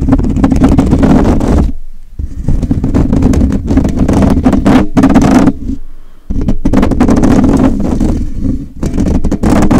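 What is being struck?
Metal wire-mesh microphone grille.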